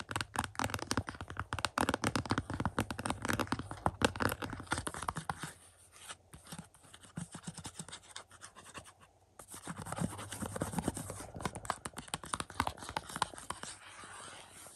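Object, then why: Plastic movie case with cardboard slipcover. Fingertips and short nails tap and scratch the front of a Bram Stoker's Dracula 4K UHD movie case, a printed glossy cardboard slipcover over a hollow, flat plastic case lying on a carpet. Rapid, dry clicks and papery scratching continue throughout, with a softer, sparser stretch in the middle before the busier tapping resumes.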